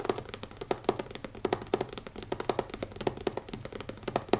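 Fingertips tap quickly on the cover of a new leather notebook, making a steady stream of short, dry, muted taps centered around 380 Hz. Each tap dies away almost instantly, and no voice is heard.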